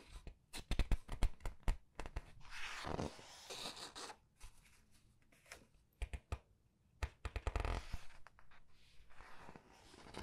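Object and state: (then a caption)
Paper book pages being turned. Long red-nailed fingers grip, squeeze and flip the thin printed paper pages of a large open paperback art book on a table, one page at a time. Quiet bursts of sharp, crisp crinkles and ticks alternate with longer papery swishes and rustles as each page turns, with short silent pauses between them.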